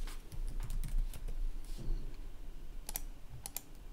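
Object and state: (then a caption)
Plastic laptop keyboard being typed on. Fingertips type steadily on the red-backlit plastic chiclet keys of a gaming laptop resting on a wooden desk. Quick, irregular clicks and soft low thumps fill the clip, with a few brighter, sharper key clicks near the end.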